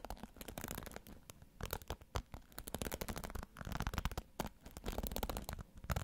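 Fingers scratch and stroke the bristles of a pink plastic hairbrush held bristle side toward the mic. Quiet, dense bursts of crackly scratching rise and fall, with short dry ticks and a heavy low-end thump from the close handling.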